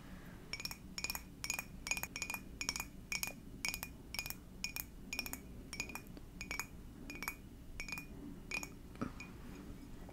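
Long dark nails tap an empty, hollow clear glass mug with a Garfield print in a quick, steady series. Each tap gives a bright, short clink with a glassy ring near 2.4 kHz that dies away almost at once, over a faint low background hum.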